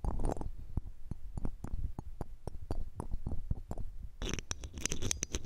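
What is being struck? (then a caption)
Metal mesh microphone grille scraped with a ring. A red-gem ring with a metal setting, held in metal tweezers, is rubbed over the round metal mesh grille of a silver condenser microphone. This makes close, muffled scratching and thumping that is mostly low and boomy, with quick clicks throughout. In the last second and a half the scraping turns brighter and more hissy.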